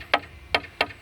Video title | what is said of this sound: 🏡প্রিকাস্ট ওয়ালের শব্দ পরীক্ষা। #precastwall #riarconcrete | ঠনঠনে টনটন করতেছে একটা শব্দ ধাতু লোহায় লোহায় আঘাত করলে যেমন শব্দ হবে অনুরূপ শব্দ পাওয়া যাচ্ছে